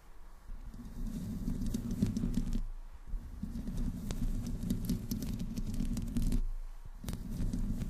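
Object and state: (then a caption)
Metal microphone grille being scratched. Long nails of both hands scratch the top of the hollow metal mesh grille of a black desktop microphone with no windscreen. The result is a dense, low, rumbling scratch that pauses briefly twice, with faint bright ticks scattered over it.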